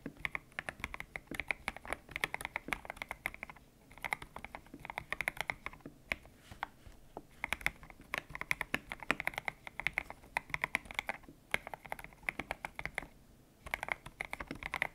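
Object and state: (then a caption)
Mechanical keyboard with PBT plastic keycaps. Fingertips type on a white-cased mechanical keyboard with grey and pink PBT plastic keycaps, its hollow case resting on a desk mat. Bursts of fast, bright, clacky keystrokes with a sharp upper-mid tone around 1.8 kHz die away almost instantly, broken by short pauses.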